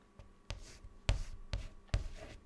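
A white chalk stick held in the fingers writes words on a large, flat, solid dark chalkboard. Four distinct strokes each land with a soft low knock, followed by a brief bright, dry scratch across the surface. Quiet pauses separate the strokes.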